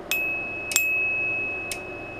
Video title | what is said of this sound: Tuning forks, a Vibroplex and Handheld Meters | it makes a very pure sine wave